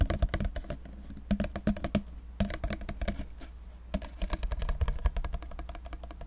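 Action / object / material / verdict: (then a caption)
tap / small cardboard cube box / cardboard / none. A small, dark, hollow cardboard cube box is held in both hands and tapped quickly with fingertips and nails. The result is a rapid, uneven stream of dry, clicky taps over a low, hollow thump, each dying away almost instantly, with brief pauses between bursts.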